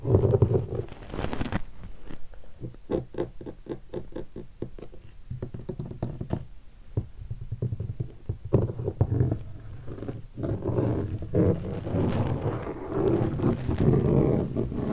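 Flat fingertips tap and drum on the lid of an upright, closed, hollow black leatherette hardshell guitar case covered in stickers. Rapid, irregular taps give low, dull, hollow thumps that die away almost at once, with denser, rumbling drumming near the start and end.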